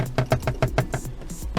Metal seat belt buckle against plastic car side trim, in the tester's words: batendo na lateral que é de plástico rígido